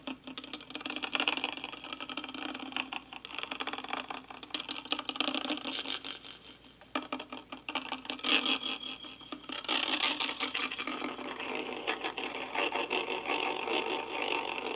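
A small brush with a wooden handle scratches and brushes across the hollow metal mesh grille of a karaoke microphone. The result is a dense, bright, scratchy rasp of rapid, uneven strokes with no low end, rising and falling in bursts throughout.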